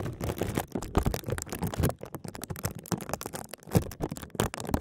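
A clear, thin plastic bag is wrapped around a small computer mouse with a green light, held upright in both hands. Fingertips and short nails tap and scratch the plastic film fast, giving a dense run of short crinkly taps and scratches. The taps land dull and low on the solid mouse beneath the film.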